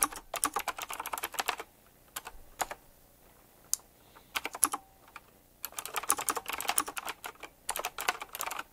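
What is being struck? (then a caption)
Mechanical keyboard with round plastic keycaps and metal rims. Fingertips type fast on a full-size black retro typewriter-style mechanical keyboard with round plastic, chrome-rimmed keycaps on a glossy base. Bursts of sharp, bright clicks and taps come in quick runs, separated by brief pauses. Each keystroke stops short with almost no ring.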